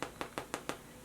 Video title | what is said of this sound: Quarantine Baking Quick & Easy Basic White Bread Recipe - Pan Blanco | tap it and it should sound hollow